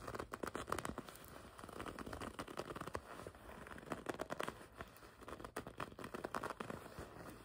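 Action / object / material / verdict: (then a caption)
scrape / leather jacket / leather / none. Long red nails scratch and grip the front of a black and red leather racing jacket with a checkered pattern and embroidery, lying flat. The result is a quiet, dense stream of short crackling, creaking and rustling scrapes, with soft bursts rising and falling throughout.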